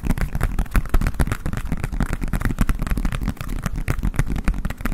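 Fingertips and nails tap rapidly on the base and ridged sides of a green, hollow, empty collapsible silicone bowl held over a microphone. Dense, fast dull thumps with a deep low-end weight run without pause, each tap dying away almost instantly.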